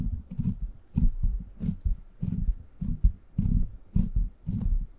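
Fingertips and short nails scratch and tap the top of the hollow, rounded steel mesh grille on a silver microphone. The result is a run of soft, muffled thumps and rubbing bursts, deep and boomy in the low end, with faint bright scratchy streaks and short quiet gaps between bursts.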